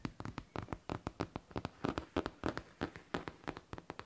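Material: Faux leather.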